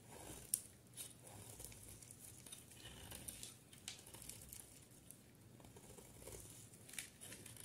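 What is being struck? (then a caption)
Solid soap bar. A solid green bar of soap is shaved and cut into chunks with a utility knife blade, giving a quiet, crumbly scraping with bright crackles. Sharp little snaps stand out now and then as pieces break away.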